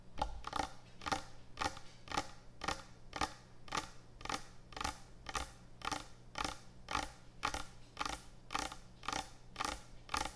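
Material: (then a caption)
Wood. Long nails scratch across a large, thick, solid wooden end-grain butcher block cutting board in 21 quick, evenly spaced strokes, about two per second. Each stroke is a short, dry, bright rasp with a faint tonal edge near 850 Hz, and a steady low hum sits underneath throughout.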